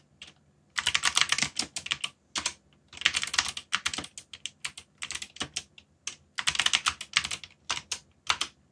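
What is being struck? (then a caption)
Mechanical keyboard with plastic keycaps. Fingertips type on a backlit mechanical keyboard with plastic keycaps, producing rapid, bright, clacky keystrokes. The typing comes in dense bursts separated by short pauses, each click crisp and dry with almost no low end.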